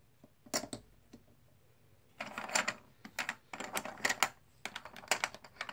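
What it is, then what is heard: Plastic poker chips. A hand scoops and stacks solid plastic/composite poker chips, then riffles a red stack between the fingers. A few sparse, sharp clicks give way to dense bursts of bright, rapid clattering with very little low end. Each click dies away almost instantly.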